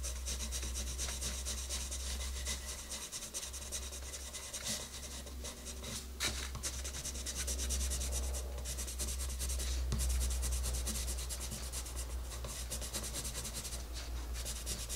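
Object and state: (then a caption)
Colored pencil on paper page. A wooden colored pencil, held in a hand with long red nails, is rubbed in quick strokes over the paper page of an open coloring book on a table to color a rabbit's nose. It makes a steady, bright, scratchy rasp of fast, fairly regular strokes over a constant low hum.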